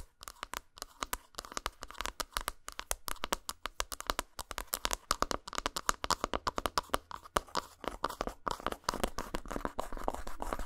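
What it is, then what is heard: Dark chocolate bar tapped and scratched with fingernails. Long pointed acrylic nails tap and scratch across the top of a flat, rectangular, unwrapped solid dark chocolate bar with a dotted textured surface, lying on a towel. The result is a rapid stream of dry, sharp clicks and crisp, bright scratching rasps with almost no ring, growing into denser continuous scratching near the end.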